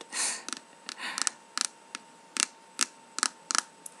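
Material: Lacquered wood.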